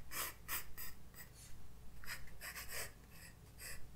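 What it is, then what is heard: Pencil drawing on a sketchbook page. A graphite pencil draws and shades strokes on a white paper page of a spiral-bound sketchbook resting on a desk. Quick, dry scratching bursts with a bright hiss come one after another in an uneven rhythm. A steady low hum sits underneath.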